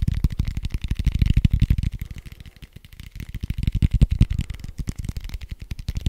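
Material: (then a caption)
Foam. A large red foam die with white dots, hollow-looking soft foam, is held in one hand and rapidly tapped and scratched with fingertips and nails. The result is a fast, dense stream of short, dull, low thuds with faint bright scratchy edges. The stream dips softer in the middle before picking up again.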